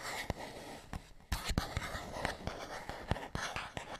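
A fingernail scratches along the surface of a small, hollow printed paperboard box. The result is a dry, broadband scratching texture punctuated by sharp, bright clicks that die away almost instantly, with a soft low hollow body beneath.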